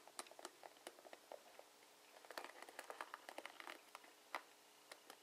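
Fingertips and nails strum across the plastic pins of a plastic paddle hairbrush with bristles, seen from the side. The result is a quiet, irregular stream of short, dry, bright ticks and clicks that bunch into a quicker, denser patter in the middle. Each tick dies away almost instantly.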